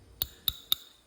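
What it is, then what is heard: Thick-walled brass tube. A 17 gauge, 1.5 inch thick-walled raw brass plumbing tailpiece tube, used for hybrid 37mm shells, is tapped three times with a ring. Each tap gives a short, bright metallic tick centered around 3.7 kHz that dies away almost instantly.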